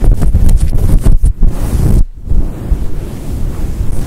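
Long acrylic nails scratch and brush a fluffy grey and white synthetic fur windscreen over a microphone. The result is a dense, muffled, low rumbling scrape with almost no high end, broken by a brief quieter dip about halfway through before the scratching resumes.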